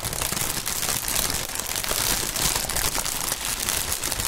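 A gloved hand grips, squeezes and crumples a clear, air-filled plastic air cushion packaging column with green print against a mat. The result is a dense, continuous bright crinkling and crackling of plastic film, with quick snapping peaks and a faint low rumble underneath.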